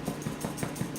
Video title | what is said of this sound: Wheaten Bread | turn it over and give it a little knock on its bottom. See if it's got a hollow bottom. That's a hollow bottom.